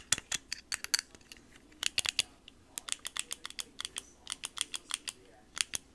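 A small, hollow yellow plastic stapler with a metal staple mechanism is handled, tapped with long manicured nails, and opened to show the metal inside. About 27 sharp, bright clicks and taps come in quick, irregular bursts, with almost no low end and a very short ring.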